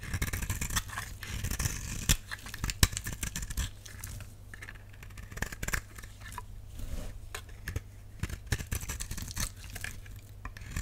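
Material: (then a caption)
Soap. A utility knife blade scrapes curls off the surface of a solid purple dry soap bar, making a run of crisp, dry scraping and crackling strokes with sharp bright clicks. The strokes come in quick irregular bursts over a steady low hum.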